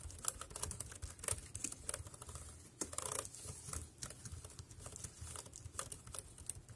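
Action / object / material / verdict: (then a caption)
tap / plastic keyboard keys / plastic / none. Fingertips type on a dark grey plastic wireless keyboard with round keys, making a quick, uneven stream of short, dry taps. Each click is bright with a soft low thud underneath and dies away almost instantly.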